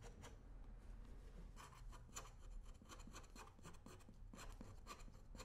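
A thin metal edge tool scrapes along the welt and sole edge of a worn black leather work boot on a shoe-shine stand, with the boot held steady by one hand. Quick, repeated rasping scrapes with bright, gritty bursts centered around 1.2 kHz sit over a low, steady rumble, at a fairly even, quiet level throughout.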